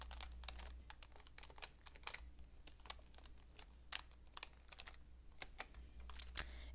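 Both hands type rapidly on a cream-coloured plastic computer keyboard with hollow keycaps, using long painted nails and fingertips. About two dozen quick, bright, clicky key taps stop short with no ring, over a steady low hum.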